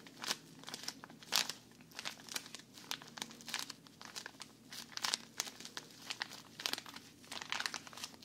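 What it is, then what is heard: Plastic bag of cotton pads, crinkled. Fingers squeeze and crinkle a small, thin plastic bag full of cotton rounds close to the mic. Bright, crackly crinkles come in quick irregular bursts with short gaps, over a faint steady low hum.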